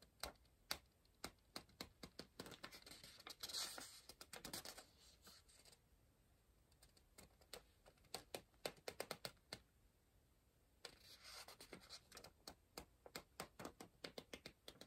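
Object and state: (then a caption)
Pencil writing on a paper puzzle book. A pencil writes and scratches across the printed page of an open softcover paper word-search book resting on a pillow, staying on the same spread. Quick, bright pencil taps and scratchy strokes come in close bursts, with quieter pauses in between. The strokes are dry and short, with almost no ring.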